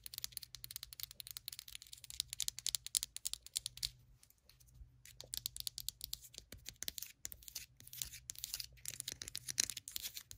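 Long acrylic nails tap rapidly on the ribbed side of a small white ceramic candle jar filled with wax, then tap and scratch its flat bottom, which carries a paper warning label. The sound is a quiet, fast stream of crisp, bright clicks and scratchy rasps with almost no low end, briefly easing off around the four-second mark before the tapping picks back up.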